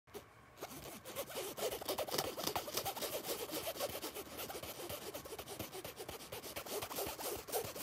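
Fingertips and short nails scratch and rub the surface of a soft, hollow black nylon fabric bag or pouch near the zipper along its edge. The result is a dense, rapid stream of crisp, bright scratching and rustling that keeps a steady level for nearly eight seconds.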